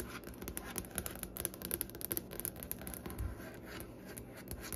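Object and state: Wooden tabletop tapped and scratched with fingernails.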